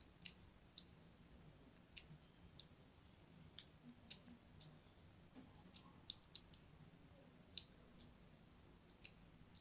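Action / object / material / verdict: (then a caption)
scrape / bar of soap / soap / none. A thin blade scratches crosshatch lines into a solid purple-and-white striped bar of soap held in the hand. Quiet, sharp, bright clicks and scrapes sit over a low, steady background hiss. The strokes stop almost instantly, with about a dozen standing out.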